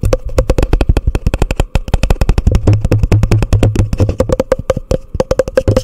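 A hollow, empty orange plastic cup turned upside down over a microphone is tapped rapidly with long nails and fingertips. The result is a fast, continuous stream of short, deep, hollow knocks with sharp clicky edges and a faint resonant hum underneath.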